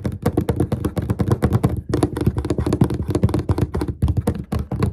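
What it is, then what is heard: Wooden desk top. Fingertips and short nails of both hands tap quickly and repeatedly on a large, flat, dark, glossy wooden desk top with a solid surface, possibly a laminate finish. The result is a dense, steady stream of dull, low thuds, each with a brief bright click from the nails and almost no ring, broken only by a short pause near the two-second mark.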